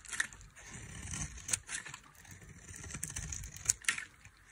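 A metal knife shaves thin curls from a dry, solid white soap bar with a red coating. It makes bright, crisp scraping and crackling strokes, with a few sharp clicks standing out over quieter, low rustling.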